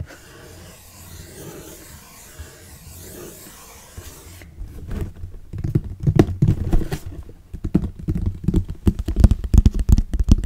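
An orange Kodak cardboard box, hollow, is held in the hands and turned while fingernails tap and scratch its faces and edges. The first few seconds are a soft, low scraping rustle. It then gives way to rapid, irregular, dry taps with a dull, low-heavy thud and almost no ring.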